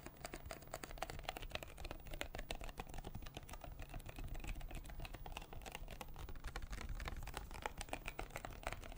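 A small, hollow, clear plastic water bottle with a blue cap is held in both hands close to the mic and tapped and scratched with fingertips and nails. The result is a dense, irregular stream of quick, dry clicks and scratchy rustles over a low, soft rumble, with bright crackling edges that stay steady throughout.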